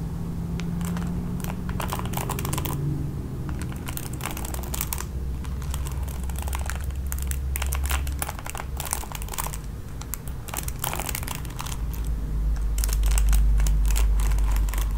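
Long nails strum the nylon bristles of a red plastic paddle hairbrush held close. The result is a fast, fairly regular stream of crisp, bright, scratchy plucks and crinkling textures. A steady low hum sits underneath throughout.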